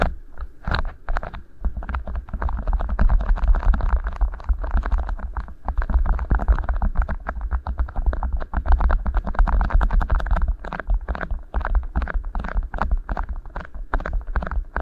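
Fingertips squeeze and rub two matching rolled beeswax-coated cotton food wraps, shaped as hollow tubes and fitted over the microphone capsules. The result is a dense, continuous run of deep, booming thumps and muffled rumble, with sticky, crinkly rubbing and short crackles over the top.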